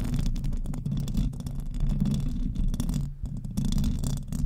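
Long nails of both hands scratch the hollow metal mesh grille of a silver desktop microphone. The result is a dense, continuous low rumbling scrape made of rapid dry strokes, with a brief lull just after three seconds before the scratching resumes at full strength.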